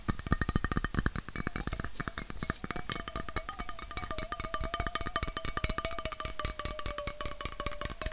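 Fingernails tap rapidly and steadily along the body of a red, hollow aluminum Coca-Cola bottle-shaped can held horizontally, its fill not visible. Each short, bright click is layered over a faint metallic ring near 600–700 Hz that shifts slightly as the tapping moves along the can.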